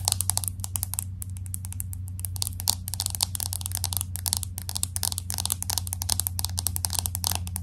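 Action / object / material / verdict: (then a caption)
tap / glass-back smartphone with metal frame / glass / none. Long acrylic nails tap rapidly on the glass back of a pink smartphone with an aluminum frame, held in both hands. A dense stream of short, bright, clicky taps sits over a steady low hum, each tap dying away almost instantly.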